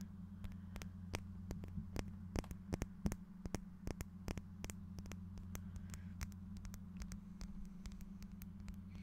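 A small, clear, faceted glass piece held up in the fingers is tapped with fingernails, producing many quick, sharp, dry clicks at an irregular pace. The taps die away almost instantly over a steady low hum.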